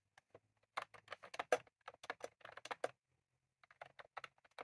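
A full-size retro-style plastic mechanical keyboard with round cream plastic keycaps on a plastic case, resting on a desk, is typed on rapidly with the fingertips of both hands. Quick, short clicky taps come in uneven bursts with a brief pause, each keystroke sharp and dry with little ring.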